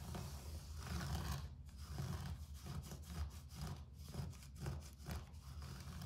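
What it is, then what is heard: Carpet being scratched. Fingertips and nails scratch back and forth across a low-pile grey carpet floor, making soft, rhythmic rasping strokes. The brushy hiss reaches high up between brief pauses, over a steady low hum that carries most of the quiet sound.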